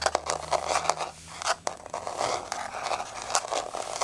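Long nails scrape and scratch across the surface of a flat, solid wood-look laminate floor with a wood-grain pattern. Quick, dry scratchy strokes and sharp ticks come in an uneven run, bright and papery with almost no low end. Each one dies away almost at once.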